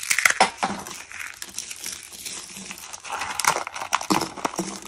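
Fingertips and short nails press and crush a round arrangement of rolled white dried soap curls, breaking the rolled soap tubes. Dry, bright crunching and crackling snaps come in irregular bursts, louder at the start and again near the end, with almost no low end and very short decay.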